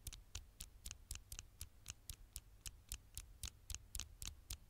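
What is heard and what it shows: Long fingernails tap and lightly scratch the flat glass screen of a dark smartphone held in one hand. About 18 sharp, bright clicks come at a quick, slightly uneven pace over a faint low rumble, each dying away almost instantly.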